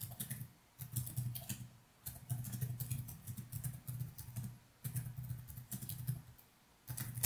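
Fingertips type in quick, continuous strokes on a laptop's plastic chiclet keys, with only the keyboard being struck. The result is bursts of dry, short clicks with a soft low thud around 105 Hz and faint bright ticks. The typing breaks off in brief pauses between runs.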